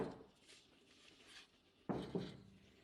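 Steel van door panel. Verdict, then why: Rattly. Two knocks on a steel van door panel with no sound deadening, each a sharp low-mid thud that rattles briefly before fading. The untreated panel rattles rather than giving a dead thump, the result of having no sound deadening.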